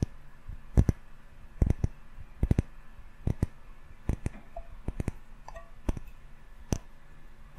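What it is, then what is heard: Glass candle jar with metal lid. Fingertips tap a small glass candle jar filled with yellow wax and topped with a gold metal lid, held beside the microphone and struck on both the glass and the lid. The result is clear, sparse, sharp clicking taps, often in quick pairs at an irregular pace, each dying away almost at once over a quiet background.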